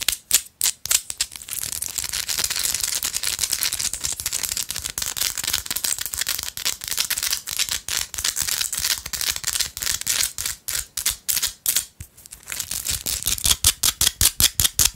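Long acrylic nails tap and scratch the faces of a small, solid pink Himalayan salt rock held in both hands. Bright, dry scratching runs almost continuously, with quick, sharp clicking taps standing out at the start and the end.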